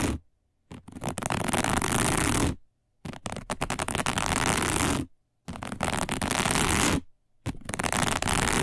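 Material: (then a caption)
Plastic. Long nails scratch across a round, flat, dark woven plastic placemat in four long bursts separated by short silences. Each burst is a dense, rough rasping that spans low to bright tones.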